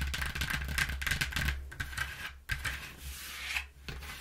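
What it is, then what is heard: Cardboard box scratched and tapped. Long nails scratch and tap the inside surface of an open, empty corrugated cardboard box lying flat. The result is a dense, dry, raspy scraping with quick irregular taps and a steady low rumble underneath, pausing briefly near the middle and again near the end.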